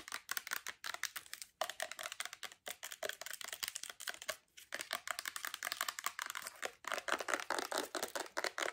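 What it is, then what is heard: Plastic lotion bottle. Long acrylic nails tap and scratch quickly on a full-looking white plastic Bath & Body Works lotion bottle with a gold cap. The result is a dense run of sharp, bright clicks and scraping rasps with almost no low end, broken by brief pauses.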